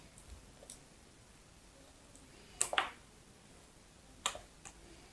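A thin slab of pale pink solid soap, held between fingers with long yellow nails, is cut and snapped into flakes over a pile of soap shavings. Sharp, dry, bright clicks and crisp snaps come in scattered bursts, with a close pair of louder cracks in the middle, all dying away almost instantly.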